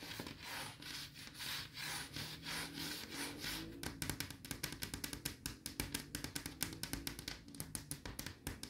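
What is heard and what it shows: Long yellow nails scratch and rub the flat wood-veneer panel and edge of a large wooden wardrobe door next to a mirror. For the first few seconds there are soft, broad, swelling rubbing strokes with a bright hiss. These give way to a quick run of sharp, dry scratching clicks that continue to the end.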